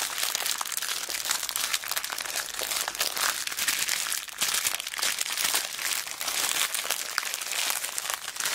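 A small clear plastic zip bag full of colourful beads is squeezed and crunched in both hands with long black nails. The result is a steady stream of dense, bright crinkling and crunching from the plastic and the beads shifting inside, with a brief lull midway before it resumes.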